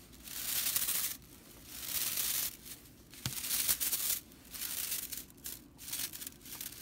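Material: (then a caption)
Straw. Fingers and long nails scratch and pluck the flat, dry straw bristles of a whisk broom. Bursts of bright, hissy, crackling rattle rise and fade in irregular waves, with quiet gaps between them and one sharp click partway through.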